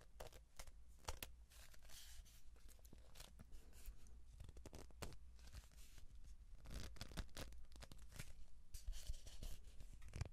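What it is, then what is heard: Cardboard tube. A hollow kraft cardboard tube about 30 cm long is scratched with fingertips and rubbed along its surface by hands, first held vertical and then horizontal. Quiet, dry scratching and papery rubbing come in dense bursts with sharp bright ticks over a low rumble.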